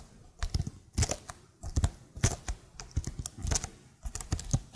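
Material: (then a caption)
Plastic. Long nails tap the lower keys of a plastic laptop keyboard held vertically, making quick, irregular bursts of clicky taps. Each tap is a short, dry click with a low, hollow body and bright edges that stops almost at once. Brief quiet gaps separate the bursts.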